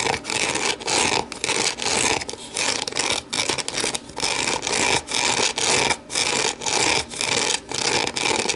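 Long nails scratch and tap inside and outside an empty, hollow, translucent plastic deli container as it is turned, then the container is set upside down and tapped on its base. The sound is a bright, hissy rasp in short repeated strokes, about two per second, with quick dry taps and almost no low end.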